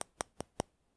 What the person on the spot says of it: i'll tap it near the microphone you can hear how thin it sounds